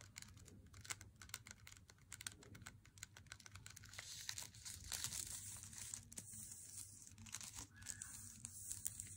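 Fingernails tap on the face and edge of a solid, unopened Lindt Swiss Classic dark chocolate bar in its glossy paper wrapper. Dense, quick, dry clicks and crinkly paper rustles come through bright and sharp with no ring, and a brighter, continuous rustle swells partway through. A faint low hum sits steadily underneath.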